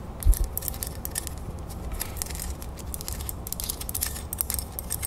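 A small, solid, antique-gold, brass-colored metal crown ornament rests in a palm while long nails tap and scratch its surface and raised beads. Quick, bright clicks and scratchy ticks run over a steady low rumble, with one louder knock near the start.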